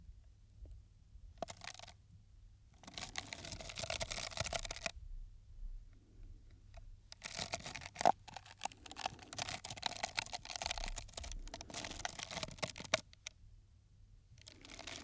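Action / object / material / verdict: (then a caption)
tap / paper cup / paper / none. An empty, hollow, green patterned paper cup is held sideways in one hand near the microphone while fingers tap and crinkle it. Bursts of bright, crackling taps and crinkles with a resonance around 700 Hz alternate with quiet pauses, the longest and densest stretch running from about 7 to 13 seconds.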